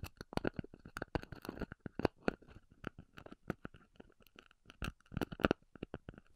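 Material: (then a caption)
Styrofoam. Long nails scratch and tap the edge and then the top of a thick, round, white, solid styrofoam disk, which is first held on edge and then laid flat. The result is a quiet run of dry, crunchy scratches and taps, each short and dead with no ring and a slight squeaky, bright edge.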